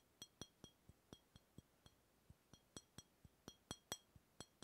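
A hollow brown glass beer bottle, held sideways beside the microphone, is tapped with the fingertips of the other hand in a steady series of quiet, evenly spaced taps. Each tap gives a short glassy clink with a bright ringing tone around 3.3 kHz and high overtones. The tone dies away almost at once.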